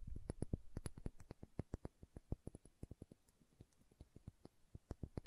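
Long nails tap and scratch a small dark green glass serum bottle with a dropper cap. The result is a quick, irregular run of dry, clicky taps with very short ring, mostly low and dull in tone with faint bright ticks, over a soft scratchy hiss.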